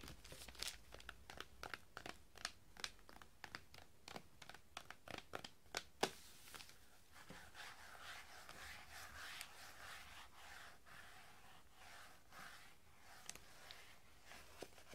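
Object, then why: Hardback book in metallic wrapping paper. Fingertips tap and scratch the cover of a hardback book gift-wrapped in solid, shiny metallic Christmas wrapping paper, held tilted above a glass table. The first half is a quick run of crisp, papery taps. It then shifts into a steady, bright scratching crinkle, with a few scattered taps near the end.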